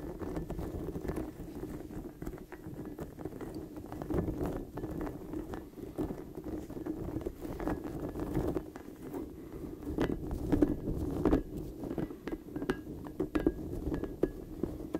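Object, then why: Soft rubber spiky ball. Fingertips scratch and squeeze the long flexible spikes of a large, hollow, blue soft rubber puffer ball held close to the microphone. The result is a steady, low rubbery rustling with a warm hum-like body, dotted throughout by dense soft crackles, taps and brief squeaky clicks that swell slightly louder toward the end.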